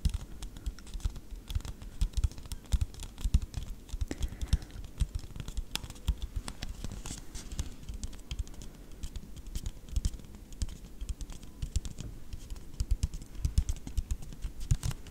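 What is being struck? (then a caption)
Disposable paper cup. Long, dark-painted nails tap rapidly and continuously on a hollow, apparently empty white disposable paper cup held in one hand close to the microphone. The taps are short, dry and dull, with a low, thuddy body, faint crisp clicks on top and no ring. They form a steady, pattering rhythm throughout.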